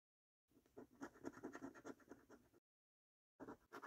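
A coin scratches the latex coating off a thin, flat paper National Lottery £1 Million Snack Stack scratchcard. A quiet run of quick, rough, uneven scraping strokes lasts about two seconds, then after a short pause two more brief scrapes are heard.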